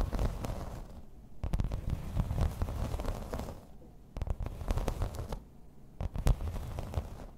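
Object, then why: Thin embossed plastic placemat. Long red nails tap and scratch across a thin, solid grey embossed plastic placemat. The result is a dense, low, rumbling texture of quick dry clicks and rough scraping, with short quieter pauses between bursts.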